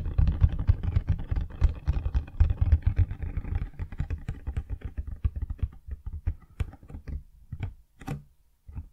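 Long dark-painted fingernails tap and scratch the front face of a large, hollow, printed cardboard Blue Yeti X retail box held upright in both hands. A dense run of quick, dull, low thumps and scratches thins out over time into sparser, sharper taps with brief pauses between them.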